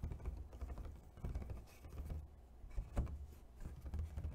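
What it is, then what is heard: Thin plastic clamshell container. A medium rectangular, clear, thin plastic takeout clamshell with embossed ridges, hollow and apparently empty, is held up and tapped rapidly with fingertips and medium nails. The result is a quick, uneven patter of soft, dull, low thunks that die away almost instantly, with little high brightness.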